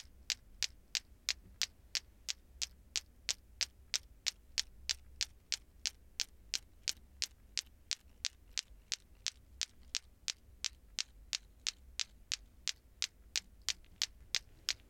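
A hand swings a red toy lato-lato ball clacker, two small solid plastic balls on cords joined to a plastic handle ring, so the balls knock together. It makes 44 sharp, bright clacks at a steady pace of about three per second, each dying away almost instantly. A constant low hum runs underneath the clacks.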